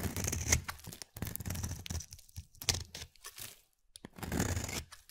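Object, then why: Translucent glycerin soap bar. A palm-sized, solid, translucent pale glycerin soap bar is held in the hand and scraped with a utility-knife blade, peeling off thin white shavings. The strokes come as rough, tearing scrapes with a low rumble under a bright, hissy edge. They are separated by short quiet gaps.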